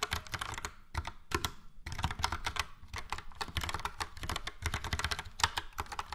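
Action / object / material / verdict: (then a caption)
tap / plastic mechanical keyboard / plastic / none. Fast, steady typing on a full-size plastic Logitech POP Keys mechanical keyboard with a yellow frame and round dark grey and light grey typewriter-style keycaps, struck with the fingertips of both hands. Dense, crisp clacks with bright tops and a low thump run nearly continuously, with only a brief pause partway through.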